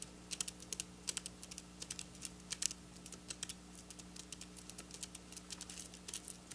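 Long black nail tips tap quickly across flat silver sequin fabric, making a rapid, irregular string of sharp, bright clicks that stop instantly. A steady low hum sits underneath throughout.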